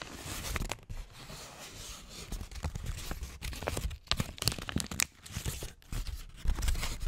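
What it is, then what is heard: Crumpled paper sheet. A wrinkled handwritten paper sheet is held against the microphone with both hands and crumpled and rubbed with the fingers. Dense bursts of bright crackling and crinkling come and go with brief quiet gaps, over a heavy low rumble from the close handling.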